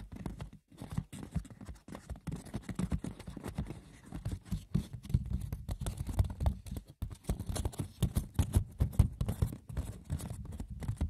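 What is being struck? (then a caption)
Woven wicker basket. Fingers rough-scratch and tap the textured woven surface of a wicker basket. A dense, continuous patter of light, dry clicks and scratches follows, each one short with almost no ring, and there is no voice.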